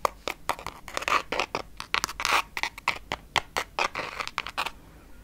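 Long red-painted nails scratch and tap across the textured glitter surface of a pink glittery Anastasia Beverly Hills Amrezy eyeshadow palette, a flat, hard, hand-sized cardboard case held in the other hand. A rapid, uneven run of dry, bright scratches and short taps follows, each one stopping dead with no ring and almost no low end.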